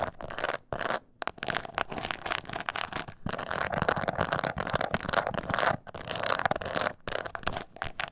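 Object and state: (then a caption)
Croc-embossed leather purse. Long nails scratch across the embossed scales of a small, hollow croc-embossed leather mini purse held upright. The result is a steady, dense rasping and crackling scratch with a hollow midrange body and some bright hiss, broken by a few brief pauses.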